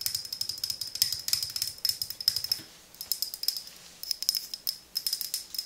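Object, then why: Frosted glass skincare bottle with metal pump. Long nails tap a medium frosted glass serum bottle with a silver pump top, held in both hands. Rapid, bright clicking comes in dense bursts, with short pauses between them and a faint high ring on each tap.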